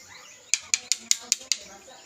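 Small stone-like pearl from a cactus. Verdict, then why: Solid. A shiny, hard mutya (amulet pearl) taken from a cactus is pounded, giving six sharp, bright clicks with almost no ring. It proves to be hard as stone.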